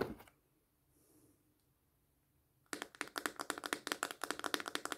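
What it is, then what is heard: Plastic slime tub tapped with fingernails. A small, hollow, clear plastic slime container with a lid and paper label is held in the hand and tapped with long painted fingernails. A brief tap opens the clip, then near silence gives way to a quick, steady run of crisp, bright clicking taps that die away almost instantly, with a light hollow body around 300 Hz.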